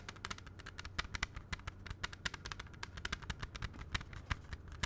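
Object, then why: Plastic CD jewel case. A closed, clear plastic CD jewel case is held in both hands and tapped quickly with the fingertips. It makes a rapid, uneven stream of short, dry plastic clicks with a bright top and a soft low thump. Each tap dies away almost instantly.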